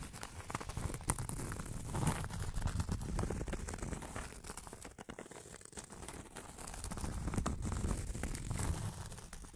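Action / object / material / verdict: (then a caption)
scrape / round cork board / cork / none. Long acrylic nails scratch across a flat, round cork board in quick, uneven strokes, making a dense, rough, crinkly scraping with a dull low body and faint high hiss. The scratching runs almost continuously, easing briefly about halfway through before picking back up.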